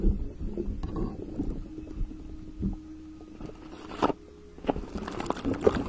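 A pink, glittery, textured silicone cover pulled over a microphone head is scratched and rubbed with the fingertips. This produces muffled, low-heavy rubbing and soft scratchy crackles, with a faint steady hum and a few sharper scrapes toward the end.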